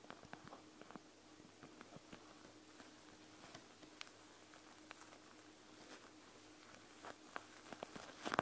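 Fingertips and long nails press and tap across the whole surface of a panda gel bead eye mask, which has a plastic shell and gel beads. Soft, sharp clicks and light squishy pats scatter over a quiet, faint background. The taps grow busier and louder toward the end.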